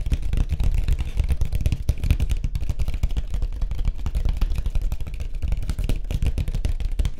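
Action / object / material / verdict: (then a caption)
tap / surfboard / fiberglass / none. Fingertips tap rapidly on a white surfboard for about seven seconds. The taps run together into a steady, dense patter of dull, low thumps with very little bright content, and each tap dies away almost instantly.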